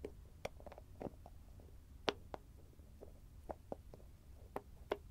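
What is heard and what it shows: Fingertips and short nails tap and scratch the shiny copper-coloured metallic screw lid of a small, round, closed CURE cosmetic cream jar with a grey body, held in one hand. About nine quiet, sharp clicks with short, bright ticking transients stand out, separated by softer scratching over a low background hum.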